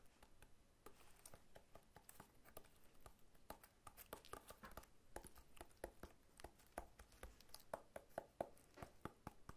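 Fingertips and short nails tap quickly on the scaly rind of a whole, solid pineapple held sideways in one hand. The result is a fast, uneven run of dry, short clicks and taps, some with a faint hollow tone near 670 Hz. The sound is quiet throughout, with each tap dying away almost at once.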